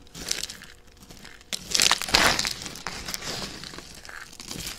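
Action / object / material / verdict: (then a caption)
scrape / soap shavings / soap / none. A pile of thin, dry, pale yellow-and-white soap shavings is handled with long dark-red nails: single flakes are snapped between the fingertips, then handfuls are squeezed and crunched in cupped palms. Faint, crisp crinkles and snaps give way to louder, dense crunching bursts that fade back into scattered crackles. The sound is bright and dry, with almost no low end.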